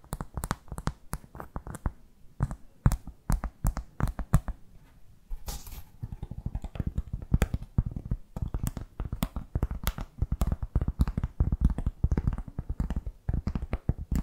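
A solid, round, flat cork board trivet is held in both hands and tapped and scratched with long fake nails. Rapid, irregular dull taps with a low, woody thud are heard, each with a faint bright click at the start and almost no ring. They pause briefly for a soft scratching rustle before the quick tapping resumes.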